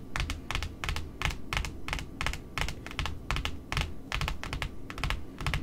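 Long metallic nails tap rapidly and unevenly on the white cardboard face of a large, flat, solid white cardboard spool wound with pink satin ribbon, lying on a wooden table beneath smaller spools. The taps are short, dry, bright clicks over a dull, low thud, each dying away almost instantly in a steady, irregular patter.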